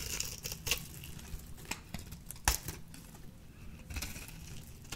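A small metal blade shaves the cubed surface off a peach-orange solid dry bar soap, and chunks break away as the bar thins. Dry, crisp scraping and crumbling crackles come in quick irregular bursts, with brief bright snaps and a soft low rumble underneath.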